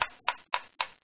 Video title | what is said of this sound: PlateTuningPartTwo | tap in the center and listen to what this average frequency is